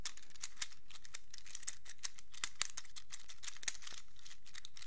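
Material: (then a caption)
Plastic. A small black plastic fidget infinity cube has its hinged hollow blocks flipped open and shut with the fingertips. The result is a quiet, irregular stream of crisp, bright clicks and crinkly snaps over about five seconds.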